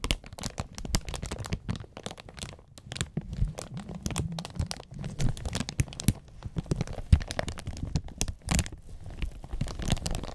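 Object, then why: Thin plastic protective film on a mixer surface. Gloved fingertips press and rub a clear, thin plastic protective film on the black surface of an audio mixer. A steady stream of dense crinkling and crackling follows, with short, dry snaps over a low, muffled rubbing.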